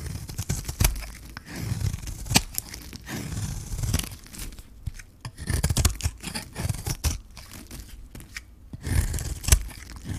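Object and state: Dry bar soap being shaved.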